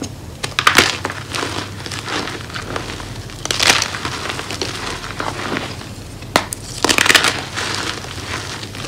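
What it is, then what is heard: Gym chalk chunks being crushed. Crumbly chunks of solid, dry, blue-white reformed homemade gym chalk in a powder-filled tray are squeezed and crushed by fingertips and palms into smaller pieces and powder. Dense, bright crunching and crumbling crackles come in bursts, with sharper snaps standing out among softer gritty rustling.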